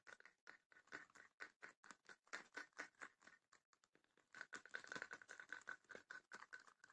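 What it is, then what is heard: Wooden chest with rattan panels, hollow. Long nails tap and scratch the lid and side of a small, closed, hollow wooden chest with woven rattan panels. The result is a quick, uneven patter of dry, short clicks with a bright, scratchy edge. The taps are dense and close together, growing busier in the second half.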